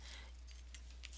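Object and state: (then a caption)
Small jingle bells shaken. Small metal bells threaded on eyelash trim along the bottom of the back of a Christmas pocket letter jingle as the letter is shaken. The bells give faint, bright, high-pitched tinkles that fade quickly, over a steady low hum.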